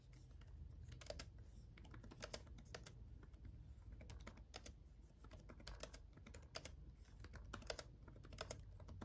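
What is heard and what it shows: Fingertips of both hands type on a black laptop keyboard with red backlit plastic keys. The result is a quiet, steady stream of short, bright clicks with almost no ring, over a low, constant hum.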